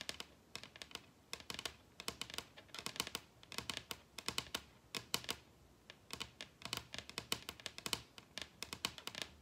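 Long red nails on both hands tap rapidly on a large, solid wooden table top. About 53 short, dry, bright clicks centred near 3 kHz come in quick clustered bursts, with almost no low end and no ringing after each hit. The overall level is quiet.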